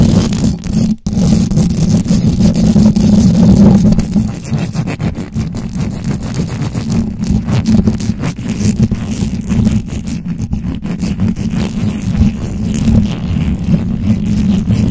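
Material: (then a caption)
Knit fabric. Long acrylic nails and fingertips scratch and grip a white knitted fabric cover on a microphone. The result is a steady, dense, muffled scratching and rustling, with rubbing heavy in the low range around 190 Hz and little high content. The level stays fairly even for the whole stretch.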